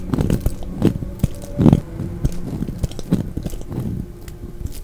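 A solid red translucent glycerin bar of soap, held in the hand, is shaved with a utility knife blade, peeling off thin flakes. Each pass makes a short, dull, low scraping crunch, with strokes following one another in an uneven rhythm, some louder than others.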